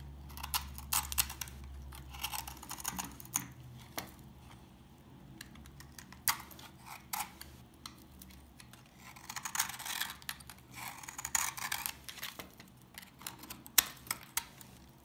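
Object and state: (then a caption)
Dry old soap bar, crunchy. A solid dark green bar of old, dry soap is held in the fingers while a utility knife blade cuts and scrapes flakes off it. The result is a run of sharp, dry crunches and scraping rasps, mostly high and bright, with short bursts clustered in places over a faint low hum.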